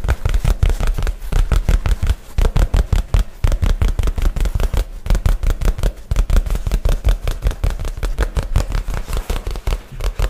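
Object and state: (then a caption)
Nylon shoulder bag. A light blue nylon shoulder bag, held flat against the side of the mic, is tapped and scratched with fingernails in a fast, uneven flurry. The taps land as dull, deep thumps with almost no ring, and soft scratchy rustles sit between them.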